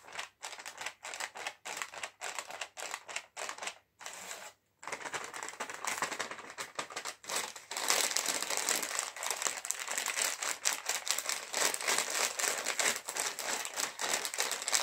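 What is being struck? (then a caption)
Metallized plastic chips packet. A sealed, puffed, medium-size green metallized plastic Haldiram's chips bag, full of chips, is held in the hands and tapped and crinkled with fingertips and nails. Short, separated bright taps and crackles come first, then a brief silence, then denser, continuous crinkling that grows louder and brighter over the second half.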